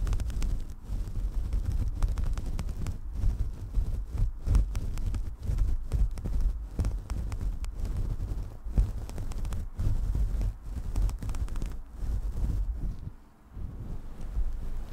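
Long nails dig into, pull and scratch a faux-fur windscreen on a desktop microphone, making the synthetic fur bunch up. The result is a dense, deep, muffled rumbling scratch made of rapid overlapping scrapes, almost all low-pitched with no brightness, running steadily apart from a brief quieter dip near the end.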